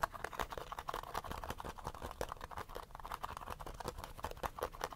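Short fingernails quickly scratch the base and sides of a small, hollow, cylindrical gold-yellow plastic sunscreen bottle held at the edge of the frame. It makes a fast, irregular flurry of dry scratchy clicks and rasps, centered in the midrange around 1 kHz with a faint high hiss. Each stroke dies away almost instantly, with no ring.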